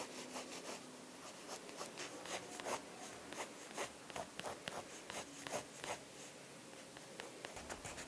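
A light-blue pencil held in a hand with long blue nails scratches short shading strokes across thick drawing paper in an open sketchbook lying flat on a wooden desk. The soft, dry scratching comes in quick, uneven bursts, with brief bright rasps over a faint low hum.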